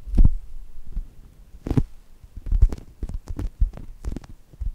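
Fingertips with long nails squeeze and scratch the surface of a brown polyurethane foam squishy shaped like chocolate toast. The result is a series of soft, muffled, low thumps and rustles, with faint bright scratchy edges on some strokes, each dying away almost at once.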